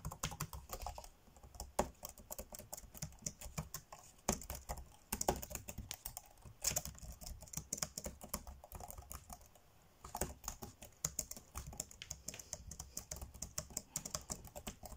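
Fingertips tap fast on the dark grey plastic chiclet keys of a laptop keyboard, typing. Dense, quick, bright plastic clicks run in bursts with brief pauses, each tap short and dry, over a faint low rumble.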